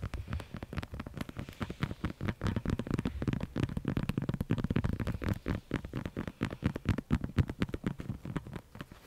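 Long acrylic nails tap and scratch a pink hollow plastic light-up skull held up close, giving a fast, continuous run of dry clicky taps. Each tap has a dull, hollow low body and dies away almost at once, with soft scratching between the taps.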